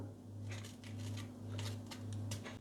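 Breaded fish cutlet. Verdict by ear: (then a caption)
Crisp. Crunching on the crust of air-fried breaded fish cutlets produces a series of dry, crackly crunches over a steady low hum, showing the crust is crispy.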